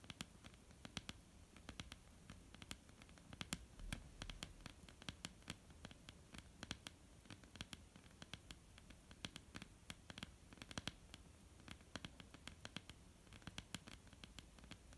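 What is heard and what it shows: Long polished fingernails of both hands tap rapidly on a flat, solid, dark wooden tabletop. Quick, light clicks with a bright edge and very short decay sit over a low, soft background rumble throughout.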